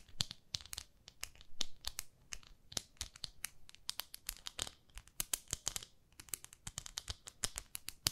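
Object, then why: Textured silicone cleansing pad. Long nails scratch the nubbed surface of a palm-sized beige textured silicone facial cleansing pad held in the fingers. Dozens of quick, dry, crackly scratches come in an irregular stream, each one bright and short with no ring.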